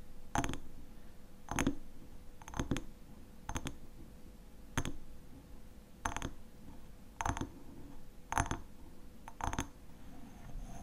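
Fingernails tap and scratch on the glass sides of a small hexagonal glass jar filled with honey. Short, bright clicks arrive at irregular intervals, some in quick double taps, each dying away almost at once, with soft scratching and a faint steady hum underneath.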